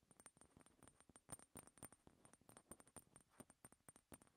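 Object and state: Dark glass oil bottle.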